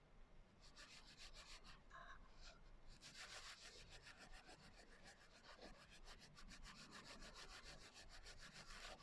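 Fingertips and nails rub the coarse glitter cover of a closed hardcover journal lying flat. Quick, uneven scratchy strokes repeat about twice a second, with bright, gritty rasping over a steady low rumble. The rubbing continues at a fairly constant level throughout.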